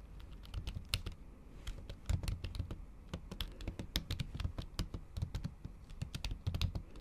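Long acrylic nails tap the keys of a MacBook keyboard under a thin pink plastic/silicone cover during steady typing. The quick, uneven keystrokes sound like soft, muffled thuds with short bright clicking tips, each stopping dead with no ring.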